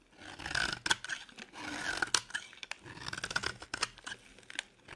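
A solid cream bar of dry soap, held in the hand, is scraped and carved with a metal blade. It makes a series of dry, bright scraping and shaving strokes with crisp, crackly flecks, broken by short sharp cuts and brief pauses.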